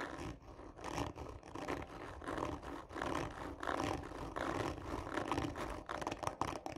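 Long nails slowly and hard scratch the textured surface of a hollow cardboard tube lying on its side, using both hands. The result is a steady run of coarse, rasping scrapes centered in the midrange with a low hollow rumble underneath, swelling and easing unevenly from stroke to stroke.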